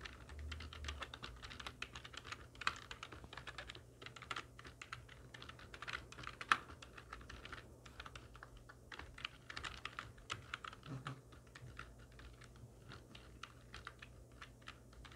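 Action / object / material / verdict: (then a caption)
tap / plastic computer keyboard / plastic / none. Long nails and fingertips of both hands type steadily on a full-size black plastic computer keyboard with hollow keys resting on a wooden desk. The result is a continuous stream of quick, dry, bright clicks and clacks that stop almost instantly, over a faint low hum. One sharper, louder clack stands out about midway through.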